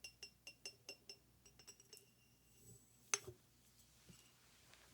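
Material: Glass.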